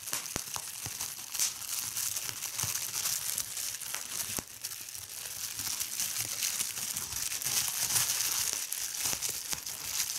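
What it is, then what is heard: Plastic bubble wrap being crumpled. A large sheet of clear plastic bubble wrap spread on a bed is crumpled and squeezed by fingertips with long red-painted nails, popping bubbles. The result is a steady, bright crinkling and crackling texture with scattered sharp pops over the whole clip, almost entirely high in pitch with very little low end.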